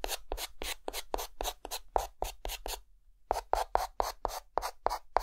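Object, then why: Chalk stick on a chalkboard. A white chalk stick draws zigzags and short vertical hatching strokes on a chalkboard bearing a mountain drawing, scratching the board. About 19 quick, dry scratching strokes are heard, with a brief pause near the middle. Each stroke is a short, gritty rasp centered around 750 Hz with bright, hissy upper edges.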